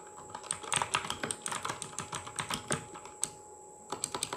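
Fingertips of both hands type rapidly on the plastic keycaps of a full-size RGB mechanical gaming keyboard. A quick stream of sharp, bright clicks and clacks plays over a faint steady high whine, with a brief lull before a few final keystrokes.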